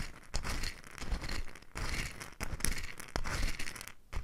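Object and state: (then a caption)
Mustard seeds in a wooden bowl. A small, light wooden bowl full of loose mustard seeds is held in the hand close to the microphone and gently tilted and shaken, with long nails resting on the bowl's outer wall. The seeds shift and rattle in soft, gritty swells of crackling hiss over a low rumble, rising and falling in irregular waves.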